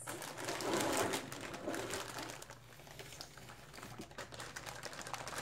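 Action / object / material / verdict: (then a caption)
shake / plastic zip-lock bag holding small plastic bottles / plastic / none. A clear polyethylene zip-lock bag filled with small blue plastic bottles or caps is held in both hands and crinkled and squeezed by fingers with long dark-painted nails. Soft, bright crinkling comes in dense, irregular bursts, loudest in the first two seconds before settling into quieter rustling with faint rattles from the contents.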